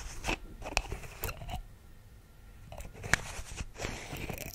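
A small white plastic Vitrum vitamin pill bottle with a screw cap is held in one hand in front of the microphone while fingertips and long nails tap and scratch at the cap and body. Five sharp, crunchy clicks stand out over a soft, continuous rustle of scratching, with bright, very short plastic ticks centred around 1.7 kHz.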